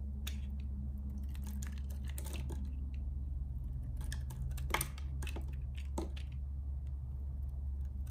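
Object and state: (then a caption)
Bar soap being carved. A metal box-cutter blade shaves curls off the surface of a solid, hand-sized bar of purple soap held in one hand, scraping and carving. Short, crisp, bright scraping and shaving strokes come in quick irregular bursts over a steady low hum.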